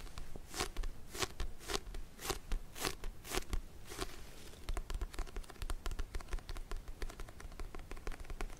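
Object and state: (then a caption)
Paperback book. Fingernails tap and scratch the spine edge and card cover of a small paperback book, a solid paper block. The first half has broad, hissing scratch strokes at a steady rhythm, then quicker, sharper ticking taps. Each sound is dry and short, with a soft low thump underneath.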